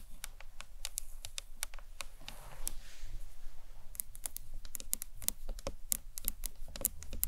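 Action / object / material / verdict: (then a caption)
tap / acrylic box clutch / acrylic / none. Long nails tap the ends and top of a hollow green marbled acrylic box clutch with a handle, seen lengthwise. The taps are rapid, light, bright clicks that stop instantly with no ring, over a steady low rumble.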